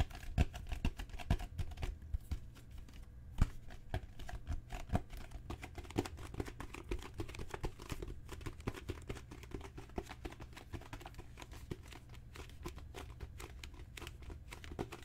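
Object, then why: Leather book cover. A solid, dark brown genuine leather book cover with raised spine bands is tapped and lightly scratched with long natural nails and fingertips. The result is a quiet, steady patter of quick, dry clicks and soft scratches with a dull low thump beneath, and a few louder taps stand out near the start.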